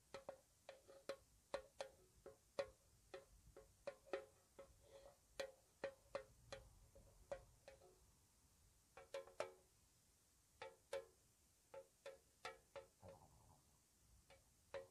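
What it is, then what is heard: Metal tea tin. A small, hollow, square white-painted metal tea tin with its lid on is held up and tapped with long nails. The taps are soft and quick, with short clicky attacks and a brief hollow ring at a steady mid pitch. They come in an irregular, unhurried rhythm with occasional pauses.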